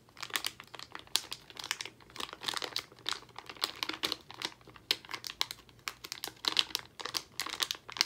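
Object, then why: Plastic foil candy bag. A full Albanese plastic foil gummy candy bag is handled and crinkled with fingers as its top is worked open. The crinkling is bright and crisp, coming in dense, quick bursts that rise and fall across the clip with almost no low end.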